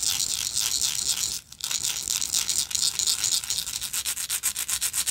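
Long nails scratch along the textured surface of a small, hollow, gold-tone metal lighter with a slotted end. The result is a bright, hissy rasping, with a brief pause partway through before the strokes turn into a quicker, steadier rhythmic scraping.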